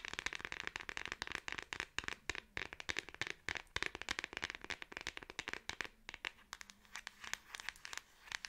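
A Samsung smartphone in a black plastic back case is held in both hands and rapidly tapped on the back with long acrylic nails. The result is a dense run of sharp, dry clicks with almost no ring, bright and crisp with a tone around 1.8 kHz and very little low end.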